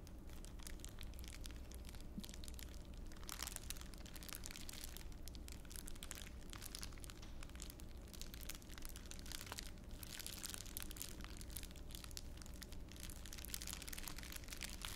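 A small wad of clear plastic wrapper is squeezed and crumpled between both hands near the ear, giving a dense, continuous stream of bright, crackling crinkles. Louder bursts of crunching rise and fall over a steady low hum that runs throughout.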